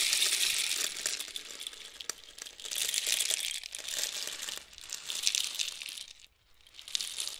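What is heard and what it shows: A long, hollow painted cardboard rainstick with loose filling is tilted one way, then the other, by hand so the filling falls through the tube. It makes a bright, dense rush of tiny patters that swells and fades in waves. It goes almost silent briefly near the end as the tube turns over, then the patter starts again.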